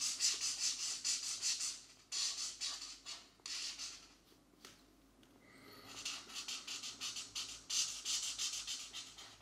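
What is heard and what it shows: A marker tip rubs across a paper mandala coloring book page in short, quick scratching strokes. The bright, hissy strokes come in rhythmic bursts, fading to a quiet pause in the middle before the steady scratching resumes.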